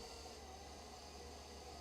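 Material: Nothing is struck.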